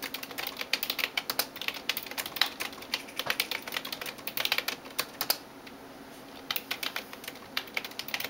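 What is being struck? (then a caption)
Plastic computer keyboard. Fingertips and nails tap rapidly on the keys of a backlit plastic computer keyboard, making fast, bright, dry clicks with very short decay. The tapping pauses briefly around the middle before resuming at the same quick pace.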